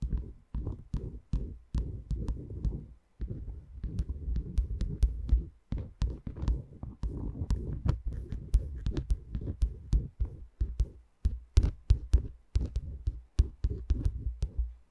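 Long nails on both hands repeatedly tap and scratch the tops of the small, light wooden cylindrical pegs on the dome of a wooden peg massager. The result is a steady run of deep, muffled thumps with quick, sharp clicks and soft scratching between them.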